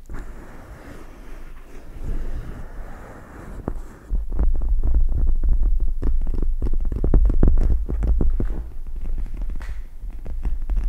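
Long red nails and fingertips scratch and tap a pink gel-bead eye mask with plastic gel-bead inserts draped over a microphone. Soft, muffled rubbing comes first, then after about four seconds it becomes louder, denser tapping and scratching with a deep, throbbing low rumble.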